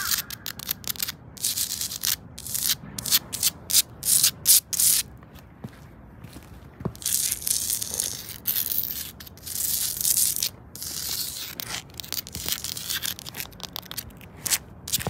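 Long acrylic nails scratch along solid grey textured stone paving slabs and their grout joints on the ground. The result is bright, hissy scraping strokes in quick stop-start bursts with short silent gaps, almost all high-pitched with very little low end.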